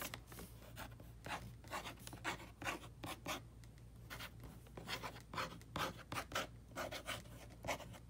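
A flat box wrapped in red "Holly Jolly" wrapping paper is scratched and rubbed with the short nails and fingertips of both hands. Quick bursts of dry, papery scratching and rubbing cut in and out, with bright rasping edges over a low, steady hum.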